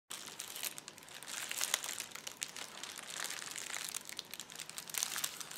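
Fingertips and palms press, rub and scratch across a large flat sheet of clear plastic bubble wrap with air-filled bubbles lying on a white table. The result is a steady, bright crinkling with dense, quick crackles and a few sharper snaps, almost entirely high-pitched with no low end.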